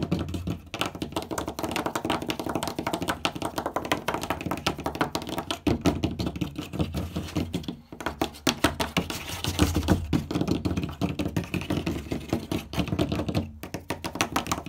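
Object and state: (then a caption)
Wooden door. Fingertips and short nails of both hands tap fast on a flat, light-coloured wooden door surface, large and likely hollow-core. The result is a dense, continuous stream of quick, dry taps with a low, hollow thud and almost no ring. Brief pauses fall near 0.7, 7.8 and 13.5 seconds.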